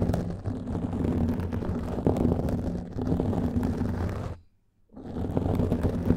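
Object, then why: Foam microphone windscreen. Fingernails scratch and fingertips rub on a black foam microphone windscreen, producing a dense, muffled, rumbling scratch concentrated in the low end. The scraping continues steadily, cuts to near silence for about half a second around the 4.5-second mark, then resumes at the same level.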